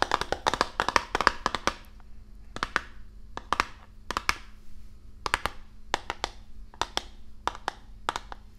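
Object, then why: Cardboard game box. Long nails tap the front face of a medium-size printed Risk board game box, made of hollow cardboard and held upright in front of the microphone. A rapid flurry of sharp, dry, clicky taps is followed by looser clusters of taps, each hit bright and with almost no ring. A faint steady low hum runs underneath.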